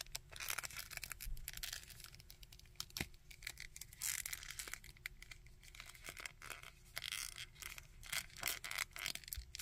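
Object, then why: Small plastic action figure. Fingertips and nails scratch the coat of a small plastic Red Skull action figure and move its arms. The result is a dense, bright stream of dry scratching and quick clicking taps with very short decay over a faint steady hum.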